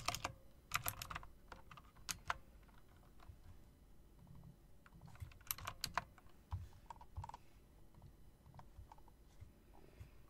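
Fingertips tap the keys and spacebar area of a typewriter-style mechanical keyboard with round plastic keycaps and metal rims. Bursts of short, sharp clicks with bright high edges come in clusters, with quieter scattered taps and a low background hum between them.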